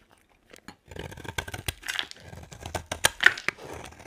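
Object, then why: Bar of soap carved with a blade. A utility knife blade shaves and carves thin curls from a solid, dry white bar of soap held in the hand. After a brief quiet start, a rapid run of crisp, dry scraping and crackling cuts follows, with bright, sharp peaks and almost no low end.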